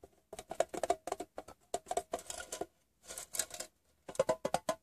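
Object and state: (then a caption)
Metal gum tin. Fingertips and painted nails tap the lid and side of a closed, hollow, rectangular printed metal Wrigley's Doublemint gum tin lying on fabric. About twenty quick, dry taps come in bursts, each giving a short hollow tone near 650 Hz with bright clicky edges that die away almost at once. A softer, scratchier stretch of rubbing taps in the middle separates the two tapping runs.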